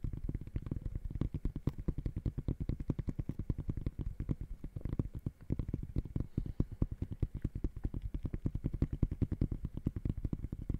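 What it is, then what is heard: Textile mesh sneaker upper. Fingertips tap rapidly and aggressively on the woven mesh upper of an empty gray high-top sneaker. The result is a dense, continuous stream of short, dull, low thumps with almost no ring and no bright content.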